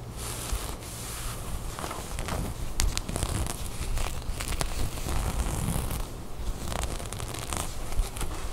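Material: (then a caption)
Knit fabric. Long nails scratch and pick at a cream knit sweater bunched up and held in both hands. The result is a steady run of soft, dry scratching, rustling and crackling on the textured knit, with short bright scrapes over a low rumble.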